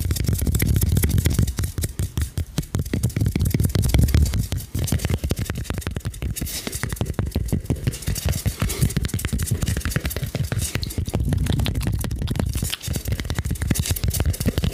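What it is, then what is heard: Styrofoam ball. A large, light but solid white polystyrene foam sphere with a face drawn on it is held in both hands and scratched and tapped with fingertips and nails. The result is a dense, continuous stream of quick, soft taps and scratches, dominated by dull, low thumps around 66 Hz with faint, dry, brushing scrape texture above. Each tap dies away quickly.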